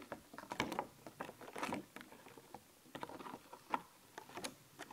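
Long nails tap and scratch the surface of a thin, flexible, clear plastic sheet of skeleton-cat stickers held up in the air. Quick, dry clicks and crinkly scratching rustles come in an irregular patter. The sound is quiet and crisp, with almost no low end.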